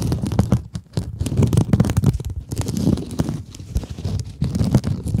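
Long acrylic nails scratch a palm-sized pink glitter scrub sponge, a sparkly woven synthetic mesh over a foam core, held in both hands. The result is a dense, continuous dry scratching and rustling, weighted heavily toward low frequencies with a low rumbling body around 113 Hz. It has a rapid, uneven texture that swells and dips in loudness, with almost no ring after each stroke.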